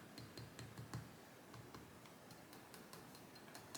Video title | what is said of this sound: RFAco Invitica (Canadian Novaculite) - Henckel Co Straight - Honing | just doesn't really have a high pitched ringtone when I tap it.